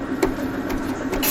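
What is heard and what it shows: A car's worn steel front wheel bearing is heard while the front is lifted and the wheel is spun by hand with the shock absorber held. It gives a steady grinding hum with a tone near 375 Hz, punctuated by three brief brighter pulses. The noise and vibration mark a worn bearing that should be replaced before it fails completely, matching a humming complaint above 60 km/h.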